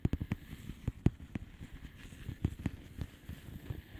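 Long polished fingernails tap slowly on a flat blue plastic bubble wrap envelope, making about ten soft, dull taps. Each is a quiet, low thud with a faint crinkly tick that dies away almost instantly. Light crackling fills the gaps between taps.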